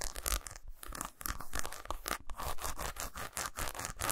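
Fingernails scratch along the grooves of a segmented solid milk chocolate bar lying on a towel and tap on its surface. The result is a quick run of dry, crisp scratching bursts with bright edges, mixed with soft, dull taps. Each sound stops at once, with no ring.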